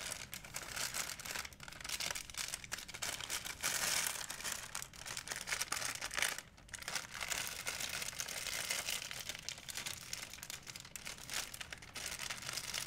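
An empty, white printed Blick plastic shopping bag made of thin film is held and crumpled by fingertips with painted nails. It gives a steady, dense, bright crinkle with almost no low end, swelling and easing, with a brief quieter dip about halfway through.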